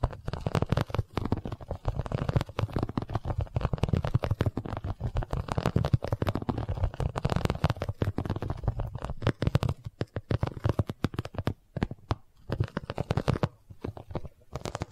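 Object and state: Vinyl cosmetic pouch.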